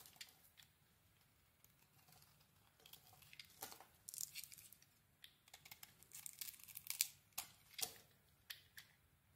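A solid dark brown bar soap with a dark coating over cream, held in hand, is scraped with a small metal blade. The result is a quiet run of crisp, bright shaving and tearing sounds with short, dry scrapes that grow louder and more frequent in the second half.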